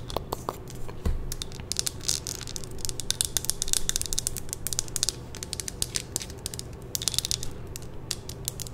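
A small lit glass jar candle filled with red wax is held in the hand and tapped and scratched with long nails. Rapid, bright, sharp clicks and scraping sounds come in irregular bursts over a steady low hum.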